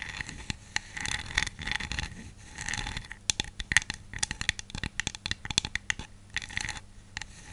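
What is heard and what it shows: Long nails tap and scratch over the hat and body of a small, hollow, glossy glazed ceramic snowman jar with a purple hat and scarf. Soft, bright scraping strokes alternate with runs of sharp, dry clicks that stop instantly, with a tone centred around 1.9 kHz.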